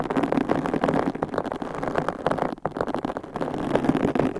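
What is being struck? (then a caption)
Foam microphone windscreen. Long pink coffin-shaped acrylic nails scratch and tap on large white foam microphone covers, soft and hollow over the capsule, on both sides. A dense, continuous muffled rustling and soft thumping fills the clip, mostly low-mid with little bright content and only a brief dip partway through.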